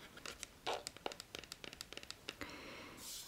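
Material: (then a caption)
Plastic. A small white plastic pump bottle of Neutrogena oil-free moisture moisturiser, hollow and partly filled, is held on a wooden table and tapped and scratched with fingertips and medium-length nails. About fifteen quick, dry, bright clicks and scratches are heard, each dying away almost at once. The clip ends with a soft, airy hiss.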